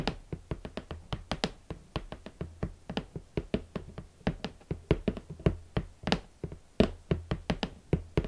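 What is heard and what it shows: Long nails and fingertips tap on the hollow lid of a large, rigid red cardboard shoe box, producing a brisk run of about thirty separate taps over eight seconds. Each tap is a short, dull, hollow thud with a crisp, bright click on top, and it dies away almost at once. A faint, steady low hum runs underneath.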